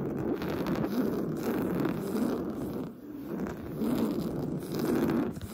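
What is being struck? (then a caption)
Woven fabric sofa cushion. Short blue-painted fingernails scratch fast across the surface of a large, soft, stuffed beige woven-fabric sofa cushion. The result is a dense, continuous scratchy rasp centered in the low-mids, with a brief lull near the three-second mark before the scratching builds again.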